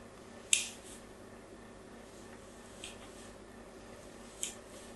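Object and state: Soap bar being scratched.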